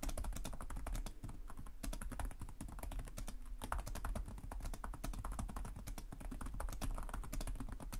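Both hands type rapidly with short-nailed fingertips on the plastic chiclet keys of a black laptop resting on a desk. A steady stream of quick, crisp clicks and taps runs throughout, over a constant low hum.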